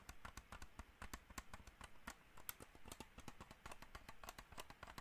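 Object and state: Plastic computer mouse.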